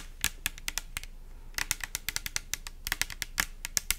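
Long nails tap fast on a pink translucent plastic pump soap bottle with liquid inside. About two dozen sharp, bright clicks come in quick, uneven bursts, each dying away at once over a faint low background hiss.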